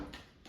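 Air-fried frozen Trader Joe's falafel, cooked through, is tapped or moved with a utensil, giving two short crisp knocks. The crunchy outside shows the falafel is crispy, and it turns out perfectly cooked inside.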